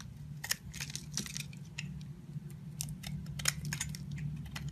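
A utility knife shaves and peels the pink outer layer off a solid oval pink patterned bar of soap held in the hand. Short, bright, crisp scraping and cutting ticks come in irregular bursts over a steady low hum.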